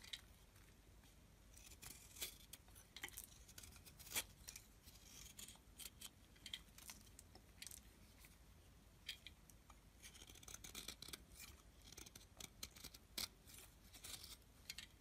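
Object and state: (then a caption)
Soap bar scraped with a blade. A small metal blade scrapes a solid, rectangular, dark brown soap bar held in the hand, carving it into curls. Quiet, crisp, bright scraping and crackling comes in an irregular run of short ticks and brief louder snaps that barely ring, with a faint low hiss underneath.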